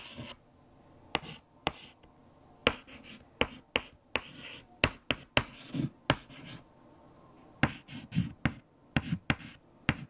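White chalk held in the fingertips writes equations on a large, flat black chalkboard, making soft scratching strokes. About fifteen sharp, dry taps of chalk on the board punctuate the writing, with short bursts of bright, gritty scraping between them.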